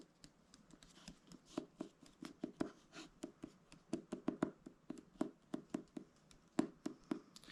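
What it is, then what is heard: Hardcover book front cover (tapping). Repeated light tapping on the front cover of the book "Everest" produces a quick run of short, dry taps. Each tap stops almost instantly, with a low woody thud near 290 Hz and faint clicky tops, at an uneven, fast rhythm in a quiet, close setting.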